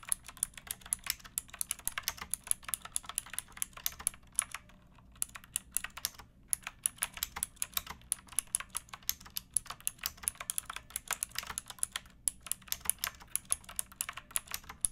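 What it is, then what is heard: Plastic mechanical keyboard. Fingertips with long nails type steadily on a pink backlit mechanical keyboard with plastic keycaps, which rests on a wooden block. Rapid, crisp, bright clicks and clacks come in dense runs, with brief pauses near 5 and 6.5 seconds. Each keystroke is sharp and dies away almost instantly over a faint low hum.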